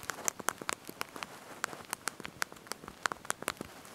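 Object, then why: Plastic phone keypad keys. Small backlit plastic keys on a handheld slide-out QWERTY mobile phone keyboard are pressed and tapped by thumbs and fingertips while typing a message. The result is a quick, irregular run of about 16 sharp, bright plastic clicks over a faint hiss, each dying away almost at once.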